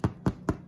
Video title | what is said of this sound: Easy crusty bread with Vani | That's what it's supposed to sound like. They maybe could stay in there just a skosh longer, but you're listening for that hollow sound.